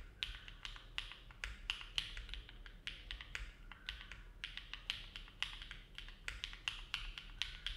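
Both hands' fingertips type continuously on a compact Neo70 mechanical keyboard with an aluminum plate, foam dampening and dark GMK plastic keycaps, resting on a desk mat. It produces a quiet, steady stream of short, bright clacks that die away almost instantly, with a ringing tone around 3 kHz over a low background hum.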